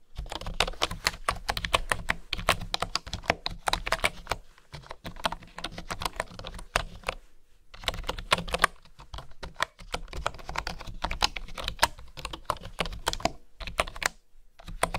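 Fingertips and long nails type on a full-size keyboard with a bamboo body and bamboo keycaps. Quick runs of short, dry, bright clicks come in bursts, separated by brief pauses, over a faint low hum.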